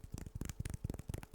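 Fingertips tap on homemade wooden sticks, similar to popsicle sticks but thicker, smoother and made of a different wood. The soft, dull, low taps come in a quick irregular run and die away almost instantly. The tapping is not very loud on this item.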